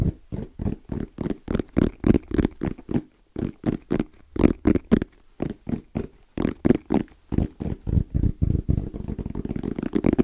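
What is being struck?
Fabric-covered EVA hard-shell zipper case.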